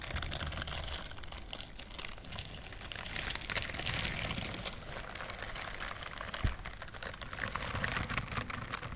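Long nails and fingertips scratch and rub the bristle pads of a pink-white silicone dishwashing glove. The result is a steady, dense crackle of fine, bright scratching over a soft low rumble, with a sharper tap standing out near the end.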